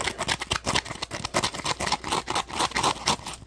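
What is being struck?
Textured polymer foam sponge.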